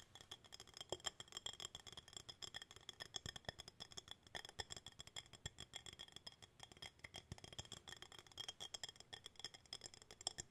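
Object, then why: Small glass jar with bamboo lid. A small, hollow, empty clear glass jar with a wooden bamboo lid is held in both hands and turned over while fingertips and nails tap on its glass walls and lid. The result is a fast, continuous stream of light, crisp clicks and ticks, bright and thin with very little low end. A faint high glassy ring runs steadily beneath the taps.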